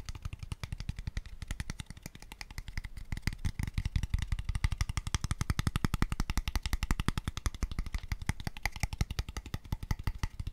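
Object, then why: Small open-ended wooden square tube. An empty, light, pale wooden square tube box, small, hollow and open at both ends, is tapped aggressively and rapidly with fingertips and nails. A fast, dense stream of short, dry knocks carries a hollow, low body resonance around 109 Hz and faint bright clicks. Each tap dies away almost instantly.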